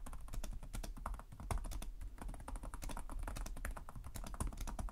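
Two hands type continuously with their fingertips on a black laptop's low-profile plastic chiclet keys, the laptop resting on a table. Rapid, dense clicky taps come in quick bright bursts over a steady low hum, each tap dying away almost instantly.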